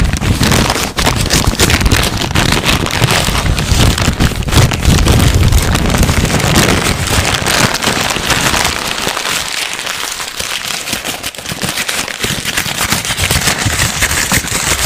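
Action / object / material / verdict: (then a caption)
scrape / thin paper sheet / paper / none. A thin, crumpled, hand-sized white paper sheet held close to the microphone is crinkled, scrunched and rubbed between the fingertips of both hands. A dense, continuous crackle spreads across the whole range, with heavy low thumping handling noise for the first half. After about eight seconds it thins to a quieter, brighter rustle.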